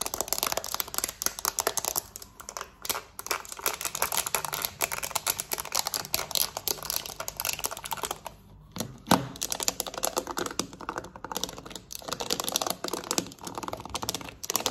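Long nails tap fast on a black plastic TV remote, first on its back and then on its buttons, ending with the remote laid flat. A dense, rapid stream of sharp, bright plastic clicks and scratches runs throughout, with a brief lull a little past the middle before the tapping resumes.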